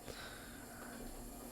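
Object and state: Nothing is struck.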